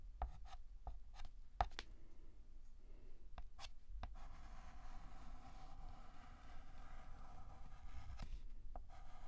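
A hand draws the lines of the letter R on a large, flat, black painted blackboard with a stick of white chalk. Soft scratching strokes are broken by several short, sharp taps as the chalk meets the board, over a quiet, low background hum.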